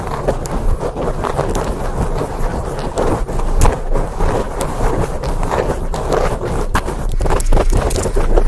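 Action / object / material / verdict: scrape / foam microphone windscreen / foam / none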